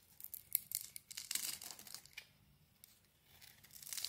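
A small metal blade shaves and scrapes curls off the surface of a solid oval bar of soap with a dark purple outer layer and a green core, held in one hand. Quiet, crisp, bright scraping and crinkly shaving bursts come in quick irregular strokes, with a lull in the middle before the scraping picks up again.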